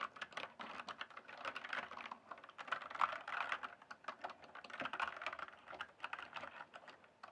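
Fingertips type and tap on the keys of a full-size RGB backlit plastic mechanical keyboard with a hollow case. A steady, rapid run of short, sharp clacks centers on the midrange, with very little low end and almost no ring after each stroke. The typing swells and eases in loose bursts over about seven seconds.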